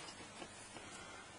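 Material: Nothing is struck.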